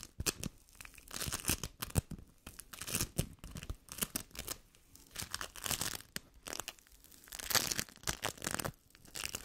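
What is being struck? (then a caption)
Sticky bead foam. A yellow lump of sticky bead foam is stretched, torn and pressed together with fingers and nails. The result is dense, bright crackling and crinkly tearing in quiet bursts that swell and fade across the clip.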